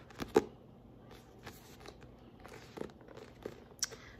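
Fingertips grip and tap the back cover of a paperback book, a solid block of paper with a glossy card cover. Six soft, dull taps sound through light papery rustling and crinkling, each one short and dry with almost no ring.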